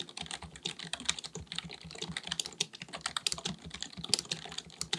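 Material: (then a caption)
Plastic. Both hands type continuously with their fingertips on a black full-size plastic keyboard, likely mechanical with a hollow body, resting on a desk. Rapid, bright key taps clatter with short, sharp attacks and almost no ring, over a faint low thud from each keystroke.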